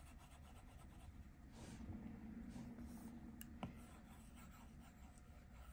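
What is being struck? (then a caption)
Plastic stylus tip on a glass tablet screen. A plastic Apple Pencil tip scratches and rubs across the flat glass touchscreen of an iPad Pro lying on a table in short, repeated strokes. The result is a quiet, steady, low-pitched rasping hiss with one brief, sharper tick of the tip on the glass.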